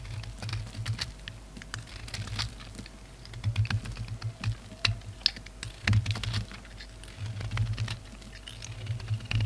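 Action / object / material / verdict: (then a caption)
scrape / solid soap bar shaved with a knife blade / soap / none. A utility knife blade shaves a red and black solid bar of soap, cutting and scraping off dark flakes. Quick, dry, high-pitched scratches and crisp clicks come in uneven bursts over a steady low hum.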